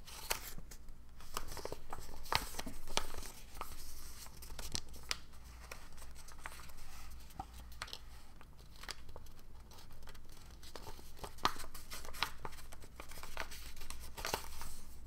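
Fingertips fold and crease a single thin, dark blue square of origami paper, partly folded and held above an open origami book. Soft crinkling and rustling are punctuated by short, sharp crackles and creasing snaps that carry into the bright highs, all over a steady low hum.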